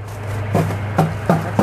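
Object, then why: Metal ammunition can. A hidden ammunition can, confirmed as metal rather than plastic, is knocked four times. Each knock gives a short, dull thunk with a low tone that dies away quickly, over a steady low hum.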